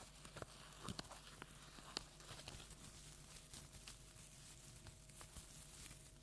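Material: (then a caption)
Plastic tinsel. Long nails scratch a large orange plastic tinsel jack-o'-lantern decoration. The scratching gives quiet, bright, crinkly rustling, broken by short sharp clicks and scrapes.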